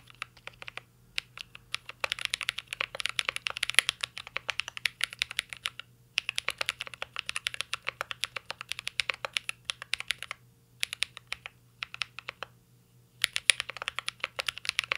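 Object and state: Mechanical keyboard being typed on.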